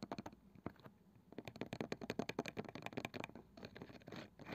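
Long painted fingernails from both hands scratch and tap the flat, light wooden lid of a palm-sized round box with a woven cane (wicker) side band; the box is probably hollow and its contents aren't visible. A rapid, uneven series of short, dry taps with a slightly hollow low-mid body mixes with scratchy scraping, with almost no ring after each hit.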